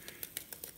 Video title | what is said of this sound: Magic Chef XL Air Fryer Review & Turkey Legs too. | You can hear how crispy that skin is.